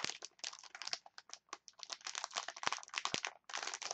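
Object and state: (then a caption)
Plastic chopstick package. A clear plastic package of wooden chopsticks is squeezed and scratched with long nails, giving a dense run of bright, dry crinkles and sharp scratchy clicks. The bursts come quick and close, with brief gaps and a short pause just before the end.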